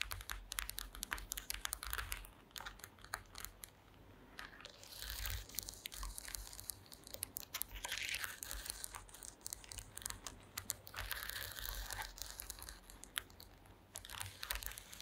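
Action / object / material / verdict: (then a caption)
tap / woven wooden slat mat / wood / none. Long green acrylic nails and fingertips tap and scratch across a woven wooden slat mat. Dense, quick clicks and dry scraping rasps mix with crinkly, crunching textures over a steady low rumble. The brief, bright sounds stay close together without pause throughout.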